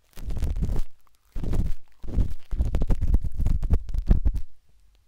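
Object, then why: Silicone ear of a binaural microphone scraped with a metal-tipped stick. A metal-tipped dot stick with a wooden handle scratches inside the soft, hollow canal of a pinkish-white silicone binaural microphone ear. It makes deep, muffled rumbling scrapes in bursts, with sharp taps and clicks in the later part of the clip.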